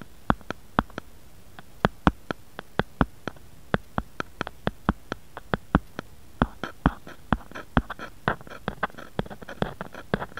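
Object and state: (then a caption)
Plastic phone case tapped. A grey-beige plastic or silicone phone case with a bear print, lying flat on a wooden board and hollow over the phone, is tapped and scratched with fingernails and fingertips. Dozens of short, crisp taps land at an uneven rhythm, each a dry click that dies away almost at once. Toward the end, the taps come faster and are mixed with brief scratchy, hollow rustles.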